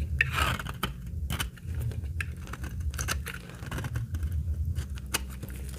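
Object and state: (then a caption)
Dry laundry soap bar. A utility blade carves curls from the edge of a very old, solid, dry, translucent amber laundry soap bar with stamped lettering. It makes a rapid series of crisp, bright scraping and cracking cuts over a steady low rumble.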